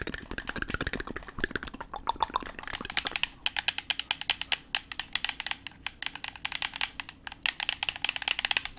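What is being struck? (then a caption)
Plastic game controller. A black, hand-sized plastic gamepad with a hollow shell and buttons is held in both hands while its buttons are clicked and the shell is tapped with the fingertips. Dense, rapid, bright clicks and hollow taps blur together at first, then settle into a steady stream of sharp, separate clicks that stop instantly with no ring.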